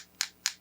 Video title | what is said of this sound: [미뇽니트] Ep.34 아니다 싶을 때는 빠르게 태세전환하는 뜨개작가, 뜨개로그, 뜨개팟캐스트 | 이게 조금 더 무게감이 있으니까 둔탁한 소리가 나고